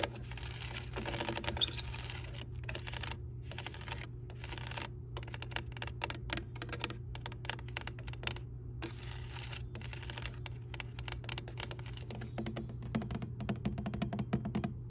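Long nails tap rapidly along the ribbed elbow and flat straight section of a white, hollow aluminum rain gutter downspout lying on grass. The result is a dense stream of short, bright, clicky ticks that die away almost instantly, over a steady low hum.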